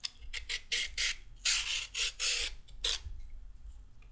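A solid raw carrot held in the hand is peeled with a pink-handled metal-blade peeler, with the peel ribbons falling onto a wooden table. Each stroke makes a short, bright, crisp rasping scrape, repeated in an uneven rhythm with quiet gaps between strokes.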